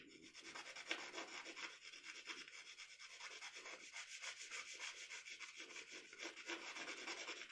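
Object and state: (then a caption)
Pencil shading on drawing paper. A pencil shades the eye of a portrait on a sheet of drawing paper resting on a table, using short rubbing strokes. The result is a quiet, bright, papery scratching made of quick, somewhat uneven strokes, about three to four per second, with almost no low end.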